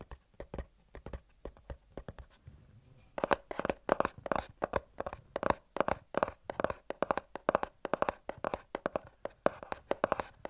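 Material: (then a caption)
Cardboard. A small, hollow, closed white cardboard retail box for i10 earbuds is held in both hands and scratched and tapped across its printed surface with short fingertips and nails. Dozens of quick, dry taps with a hollow midrange knock around 580 Hz, mixed with brief scratchy rasps, start sparse and soft, then come faster and louder after about three seconds. Each tap dies away almost instantly.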